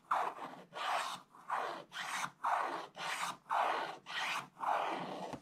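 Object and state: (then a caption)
Scratch-art paper being scraped. A thin wooden stylus scratches away the remaining black coating around a gift sack on a flat scratch-art paper page in a scratch book, with the other hand resting flat on the book. Nine separate raspy strokes are heard, each a dry scrape centered in the midrange with a bright hiss on top. The strokes come at a loose, uneven pace with short silent gaps between them.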